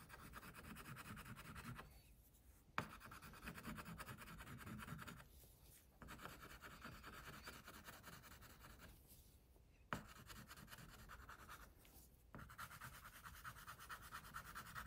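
A wax crayon, held by a hand with long pink nails, rubs and scratches across a flat paper coloring page resting on a clipboard, shading around a tiger's muzzle. Steady dry scratching strokes centered around 1.3 kHz come in bursts separated by brief quiet pauses. Two sharp ticks stand out as the crayon lands back on the paper.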